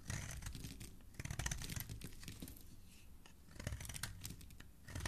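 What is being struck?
Bar of soap carved with a metal blade.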